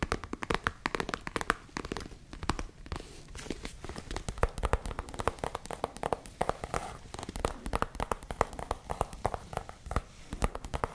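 A small, hollow tan leather zip case is tapped and scratched across its surface by long nails. The result is a steady run of quick, dry, close-up taps with very little ring. Soft scraping and crinkling textures fill the gaps between the taps.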